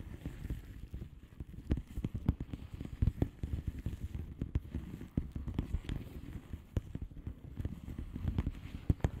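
Long manicured nails of both hands tap and scratch a flat blue plastic bubble wrap mailer envelope with air-filled bubbles. A steady stream of soft, dull taps and quick clicks sits mostly in the low range, with brief sharper ticks scattered throughout and faint rustling scratches in between. The sound stays quiet and close, with each hit dying away almost instantly.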